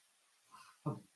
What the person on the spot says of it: Bit of a hollow thump or a dull thud, that's it. Just give it a tap, dull thud